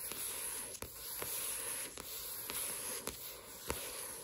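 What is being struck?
Paperback book with glossy paper cover.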